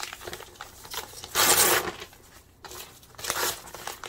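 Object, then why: Thin printed paper sheets. Thin printed paper map or atlas pages, loose sheets lying over a pile of torn scraps, are crumpled, rustled and torn by hand with the fingertips. Soft, bright crinkling runs throughout, broken by a loud, harsh ripping burst near the middle and a second, smaller tearing rush toward the end.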